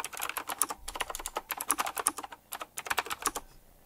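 Fingertips type quickly on a retro typewriter-style mechanical keyboard with round plastic keycaps set in chrome rings. About 22 sharp, bright clacks come in fast bursts with almost no low end and very short decay, with a brief pause midway. The typing stops near the end, leaving near silence.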